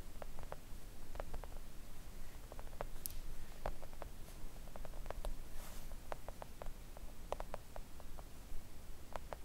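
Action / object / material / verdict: tap / thin silicone mat tapped with long press-on nails / silicone / none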